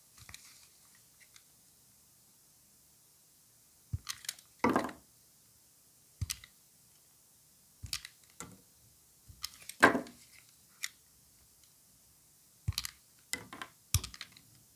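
A utility knife blade shaves thin curls off a solid, dry, white rectangular bar of soap held in gloved hands. The result is quiet, brief, crisp scraping clicks that come in irregular bursts with brief silences between them. Each stroke is broadband and dry, with a bright edge and almost no ring.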